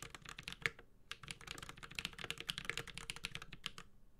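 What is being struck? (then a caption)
Mechanical keyboard with plastic keycaps. Fingertips of both hands type on a Space65 Cybervoyager 65% mechanical keyboard with a white-gold metal case, Holy Panda switches and ABS keycaps. A steady stream of quick, bright, clacky keystrokes with very short decay fills the clip, broken only by a brief pause near the one-second mark.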